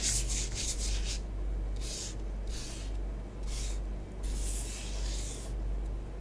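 Long nails write and rub through orange bath bomb powder spread on a tabletop. The result is soft, breathy scratching strokes that come in bright bursts of hiss, with pauses between them, over a steady low hum.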